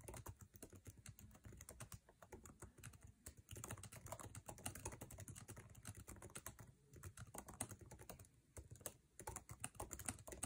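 Fingertips type fast on a MacBook Air keyboard, tapping its plastic keycaps set in an aluminum chassis. A dense stream of short, crisp clicks over soft low thuds runs throughout, with bright edges and brief lulls near 3.5, 6.8 and 8.6 seconds. Each keystroke dies away almost instantly.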